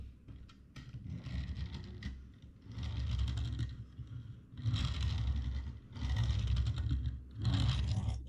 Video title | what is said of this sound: Diecast Ferarri 599XX | karena banyak bannya karet jadi beda sama yang ini nih